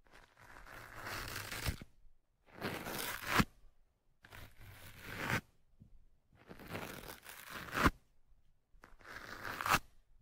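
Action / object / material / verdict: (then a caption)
scrape / foam microphone windscreen scratched with a metal pick / foam / none. A thin metal hooked pick held in the fingertips scratches into the top of the black foam windscreen on the right microphone. Five separate passes of rough, bright, crunchy scratching each build up and end in a sharp scrape, with short silences between them.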